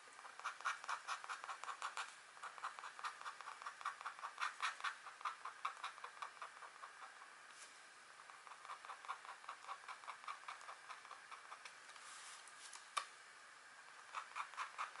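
A green-handled stylus held in a hand with long nails scratches lines into a flat, thin wax-coated scratch art card, a black coating over a metallic layer, lying on a table while the other hand rests beside it, etching a deer or elk design. Quiet, dry, rapid scratchy strokes come in quick rhythmic bursts with a papery, mid-to-bright hiss and no low end. There are softer stretches around the middle and a single sharp tick near the 13-second mark.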